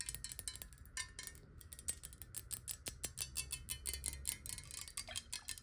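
A clear, square, hollow glass bottle partly filled with water is tapped quickly with long nails. The rapid, uneven taps produce short, bright clicks with a quick high glassy ring that fades almost at once, over a faint low rumble.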